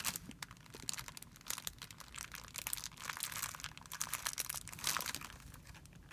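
A thin, clear plastic film bag lying on a white surface is crumpled by hand and rubbed between the fingers. It gives a dense, continuous crinkling and crackling made of quick, bright snaps, with little low end apart from a faint steady hum underneath.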